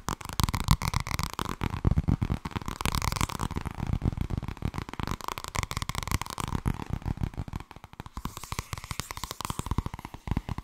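Fingernails and fingertips tap quickly and brush across the cover of a thin purple paperback book held at a tilt. The result is a dense run of short, dull, low-heavy taps mixed with soft scratchy brushing that fades almost instantly after each hit. The tapping eases slightly in the second half.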